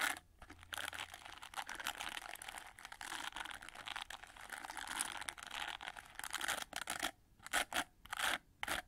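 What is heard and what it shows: Long nails scratch and flick the red plastic bristles of an oval hair brush and rub along its gold plastic frame. The result is a dense, bright, crackly scraping with rapid clicks. Near the end it breaks into short separate bursts with quiet gaps between them.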